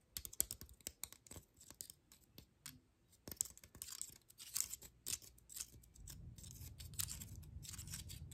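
Long nails scratch and flick the scale edges of a dry, open pine cone held close up, producing rapid, bright, crisp clicks and dry scratches with almost no ring. Over the last couple of seconds, a steady low rumble rises beneath the quieter scratching.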